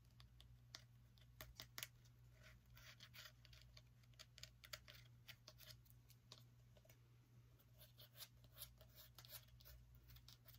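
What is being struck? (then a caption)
Small pumpkin rind and stem. Fingernails tap and scratch the skin and stem of a small orange pumpkin, producing quick, dry, bright clicks and scraping strokes. The sharp taps are scattered irregularly throughout, over a steady low hum.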